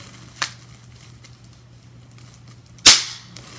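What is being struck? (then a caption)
Plastic bubble wrap sheet. Bubbles on a clear plastic bubble wrap sheet are pinched and popped with fingers and nails, giving two sharp, bright pops. The first is a quieter snap and the second, about two and a half seconds later, is a much louder crack that fades quickly, over a faint steady low hum.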